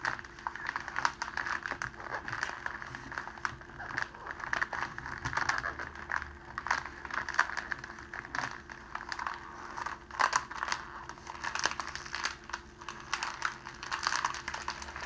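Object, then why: Thin cellophane plastic sheet. A clear, thin cellophane plastic sheet, rolled into a tube on a table beside an untouched rose, is squeezed and rolled by bare fingertips. It gives a dense, continuous crinkling and crackling centered in the mid-range, with sharp crackles popping out throughout. A faint, steady low hum runs underneath.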